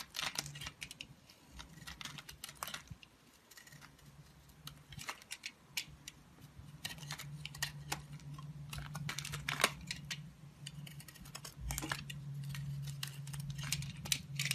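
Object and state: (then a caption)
Soap bar being carved. A solid, hand-sized rectangular bar of black soap is held in one hand and carved with a utility knife blade, shaving off thin curls. Short, crisp scraping and cutting clicks with a bright top repeat irregularly over a steady low hum.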